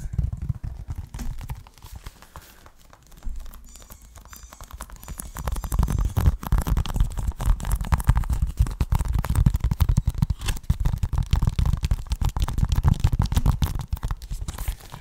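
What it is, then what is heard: Plastic video game case. A closed, hollow, hand-sized green plastic Xbox One game case with a clear sleeve over its cover art is held close to the microphone and scratched and tapped with fingernails. Soft, scattered scratches over the first few seconds give way to a dense, rapid stream of low, muffled tapping and rustling that stays steady to the end.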